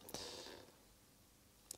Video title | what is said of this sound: Fujifilm FCR XG-1 XRAY Scanner, Photomultiplier Tube Reverse-engineering (Part 3 of 3) | we have another glass disc. Certainly sounds like glass.